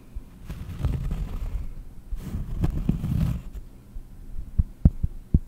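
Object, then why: Round cork board. Long painted nails slowly tap on a round, solid cork board held close in front of the microphone. Soft, muffled low thumps blur into a dense rumbling patter, then a few separate dull taps with almost no ring close the clip.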